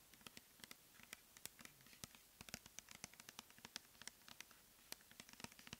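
Long nails tap and scratch the label and body of a clear plastic pump bottle filled with cleansing gel, held in the hands. Around thirty quick, dry, bright clicks and scrapes come in an uneven, rapid patter, each dying away almost instantly over a quiet background.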